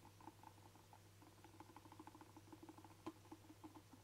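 A hand-sized, hollow black rubber camera dust blower bulb with ribbed sides is tapped and drummed with short fingernails and fingertips. It makes a quiet, rapid patter of soft, dull, hollow ticks that die away almost instantly, with one sharper tap near the end. A steady low hum runs underneath.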